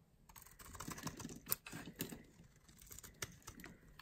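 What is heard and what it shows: A small blade shaves a solid, light green oval bar of dry soap held in the palm, making quick, irregular crunchy scraping sounds. Dry, short scrapes come with a few sharp, bright peaks over a quiet background, and each stops almost at once with no ring.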